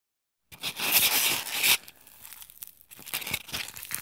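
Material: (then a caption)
Polystyrene foam. A small solid white expanded polystyrene (styrofoam) block resting on a wooden table is scratched and rubbed with the short fingernails and fingertips of both hands. After a brief silence, a loud, bright squeaky rubbing rises and holds for about a second, then gives way to quieter, irregular scratching and crinkling. Toward the end, a run of short scratchy strokes builds up again, almost entirely high and hissy with very little low end.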